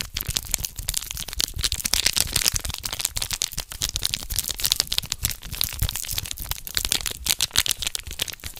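Fingertips tear and crinkle a small red foil condom wrapper held in both hands close to the microphone. A dense, continuous stream of bright, sharp crackles and crinkles fills the clip, with quick dry snaps that stop instantly without ringing.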